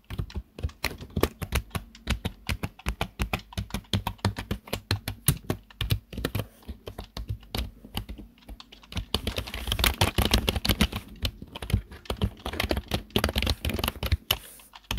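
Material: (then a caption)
Plastic. Fingertips of both hands type on the keys of a black plastic desktop keyboard in a steady run of quick, short clicks. Each keystroke has a low thump with bright clacking on top, and the typing gets denser and louder about halfway through.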